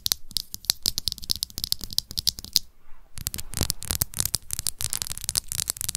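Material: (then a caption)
Plastic. Long acrylic nails on both hands rapidly tap and scratch the red plastic screw cap and top of a small, hollow BB+C plastic supplement bottle. The result is a dense stream of sharp, bright clicks with a faint scratchy rustle between them. There is a brief pause just before the three-second mark, then the tapping resumes even faster and louder.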